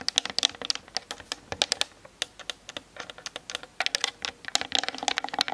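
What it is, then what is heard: Plastic camera body. Long nails tap quickly on the hollow plastic body of a Canon DSLR camera on a tripod, recorded through the camera's built-in mic. The result is a rapid, irregular run of bright, dry clicks that sound like typing, with almost no low end and no ring after each hit.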